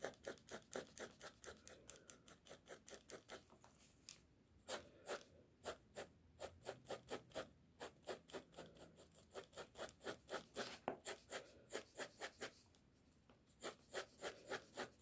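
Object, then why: Pencil on a sheet of drawing paper. A pink mechanical pencil held in the fingers scratches and hatches lines across a flat sheet of drawing paper bearing a pencil sketch, resting on a table. It produces a rapid, somewhat uneven series of about fifty short, dry scratching strokes with a bright, papery hiss. There are brief pauses between bursts of hatching.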